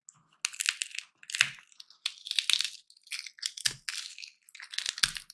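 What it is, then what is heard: Peanuts in shell being cracked. Dry roasted peanuts in their hollow shells are cracked and crushed between the fingers, with the shell fragments piling up on a pink surface. Each squeeze gives a burst of bright, dry crackling and crunching, some with a soft low thump. Short quiet gaps separate the bursts.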